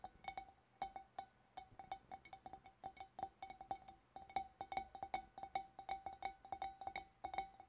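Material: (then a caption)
Glass. Long black nails tap with both hands on the shoulders of a large, hollow, empty clear glass fish bowl. A quick, uneven stream of light clinking taps each gives a short glassy ring near 780 Hz with faint bright overtones, and the ringing dies away almost at once between strikes.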